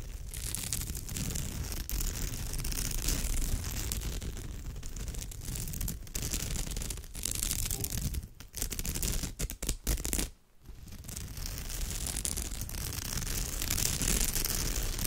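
Fingers with long nails scratch and rub the weave of a woven straw/raffia bag, making a dense, continuous dry scratching and rustling with a low rumble underneath and bright crackle on top. The sound runs steadily through the clip, dropping away in brief gaps near the middle before resuming.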